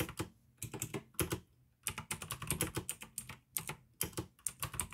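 Fingertips type in quick bursts on a pink AUKEY plastic mechanical gaming keyboard with blue switches. Bright, clicky keystrokes with short low thuds come in clusters separated by brief pauses.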